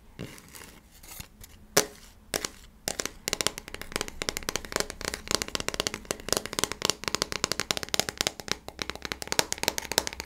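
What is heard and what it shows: A small, thin square coaster with a cork back and a glossy printed "Positivity" top is held in both hands and flipped over while fingertips and nails rub and scratch its cork and printed sides. A few scattered crisp clicks and scrapes build into a dense, continuous run of bright, crackling scratches.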